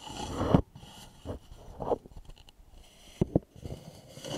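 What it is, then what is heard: Wooden bowl. Fingertips and short nails scratch and tap the curved sides and foot rim of a small, polished, hollow wooden bowl placed upside down. A rising scratchy rustle builds and cuts off, followed by softer scrapes and light taps, then two sharp, close taps. The hollow knocks are dull and low with almost no ring.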